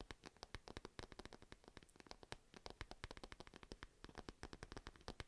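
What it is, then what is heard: Fabric pencil case scratched with nails. A purple padded fabric pencil case shaped like a cat, held close to the mic, is scratched with long nails. A rapid, steady run of short, dry scratching strokes follows, each one crisp and bright with a soft low thump beneath it. The strokes stop quickly, with no ring, over a faint background.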